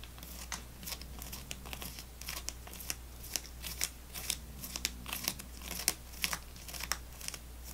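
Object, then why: Plastic gum tray with foil-wrapped sticks. Fingernails tap and scratch across a full plastic gum tray, moving over the tops of the foil-wrapped sticks and the plastic itself. The result is quiet, irregular, bright clicks and crisp scratchy crinkles that die away almost instantly. A steady low hum runs underneath throughout.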